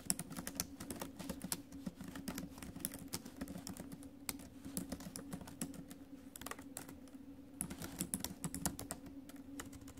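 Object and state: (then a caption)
Laptop keyboard with plastic keys. Two hands with long acrylic nails type rapidly on the plastic keys of a silver ASUS laptop keyboard set in a metallic silver chassis above the trackpad. Dense, quick key taps and clicks run steadily throughout, with short bright ticks over a low hum.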